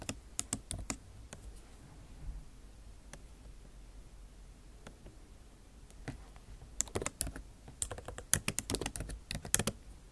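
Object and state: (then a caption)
Laptop keyboard with plastic keys. Long nail tips type on a backlit MacBook Pro keyboard with plastic keycaps in an aluminum body, producing sharp, bright clicking taps with almost no ring. A few quick taps open the clip, followed by a quieter stretch of sparse clicks, then dense flurries of typing near the end.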